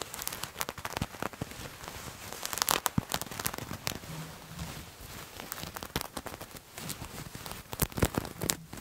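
Fingernails scratch a purple patterned fabric garment held in both hands close to the microphone. The result is a dense run of dry, crackling scrapes and sharp bright clicks over a soft rustling bed, with a faint low hum partway through.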